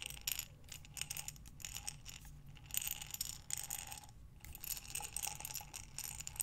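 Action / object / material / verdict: shake / glass jar with metal lid holding small buttons / glass / none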